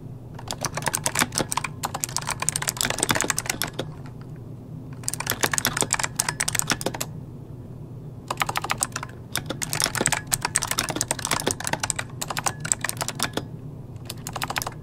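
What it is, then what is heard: Plastic mechanical keyboard. Both hands type rapidly with their fingertips on an RGB-lit plastic mechanical computer keyboard with hollow key switches, resting on a desk. Dense bursts of bright, sharp key clicks come in several spells separated by short pauses, over a steady low hum.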